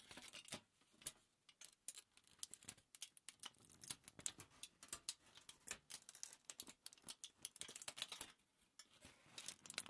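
A crumpled sheet of thin aluminium foil, lifted at the edge, is crinkled and rubbed by fingers. The result is a dense run of quiet, crisp, bright crackles and rustles with almost no low end. Each snap dies away instantly.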